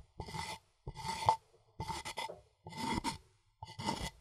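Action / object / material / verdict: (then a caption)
scrape / wooden mortar and pestle / wood / none. A wooden pestle scrapes and grinds in a rasping motion inside a light, hollow, empty wooden mortar held by hand. Five separate dry rasping strokes each carry a steady woody ring near 900 Hz over bright hiss, with short silences between them.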